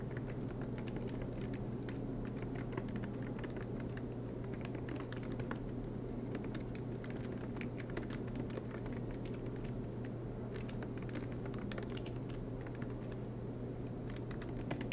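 Fingertips of both hands type continuously on a silver MacBook Pro laptop keyboard, with black plastic low-profile keys set in an aluminum chassis. Rapid, light clicky taps patter steadily throughout, over a constant low hum.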